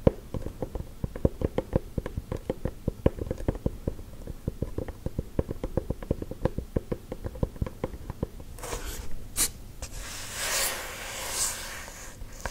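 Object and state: Wooden object tapped with fingernails.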